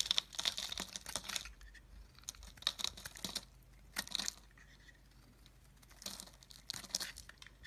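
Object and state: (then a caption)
Soap bar being shaved. A pink oval solid soap bar held in the hand is shaved into flakes with a utility knife blade. Bursts of crisp, bright scraping and crackling come in several separate passes, with short quiet gaps between them and almost no low end.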